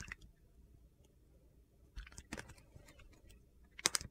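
A solid bar of Coast soap, painted blue and black and held in the hand, is shaved with a utility knife blade, and thin slices fall onto the table. Quiet, bright, crisp scraping and crunching stretches across the clip, with a few short, sharp cuts standing out, the loudest pair near the end. Each cut stops almost instantly with no ring.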